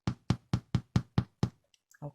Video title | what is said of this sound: Simple Breadmaking For Beginners Online Class Parts Four, Five and Six | We know it's baked because when you tap it, it's hollow on the inside.